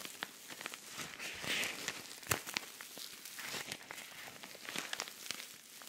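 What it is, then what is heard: Rhinestone-covered pouch scratched. Fingernails scratch across a flat, empty-looking silver rhinestone-covered cosmetic pouch held close to the mic. Quiet, bright, crackly scratching with many short clicky ticks, the loudest snap near the middle.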